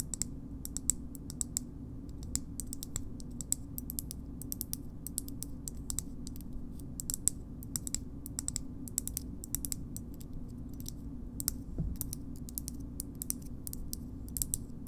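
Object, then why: Plastic bottle opener. A green hollow plastic bottle opener is tapped and scratched with long nails. Dense, quick, bright clicks and taps rise above a steady low hum, each dying away almost instantly.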